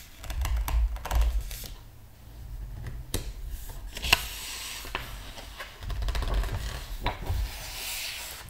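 Fingertips and a palm rub and smooth the glossy paper pages of a large hardcover art book lying open on a table, then turn them. The result is a steady dry, papery swishing over a soft low rumble, broken by brief crisp ticks and flutters as the pages move and settle.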